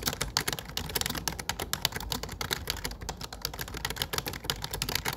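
Fingertips type steadily on a low-profile plastic computer keyboard with dark plastic keycaps. The result is a quick, continuous run of short, bright, clicky taps that die away almost instantly, over a faint low rumble.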